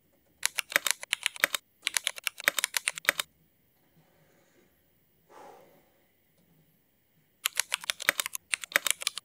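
Rapid typing with the fingertips of both hands on a full-size backlit mechanical keyboard with black ABS plastic keycaps and Cherry MX black switches, resting on a wooden desk. Bursts of sharp, bright clacks come in quick runs, broken by a quiet pause and a soft brief swish, before a final run of fast key presses.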